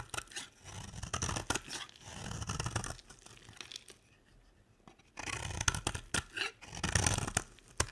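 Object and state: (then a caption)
Dry bar soap being shaved. A square, solid beige bar of dry soap is held in the hand and shaved into shavings with a box-cutter blade. Dry, crunchy scraping and cutting strokes come in bursts, with a bright, crackly edge over a low rasp. The strokes pause briefly near the middle before the shaving resumes.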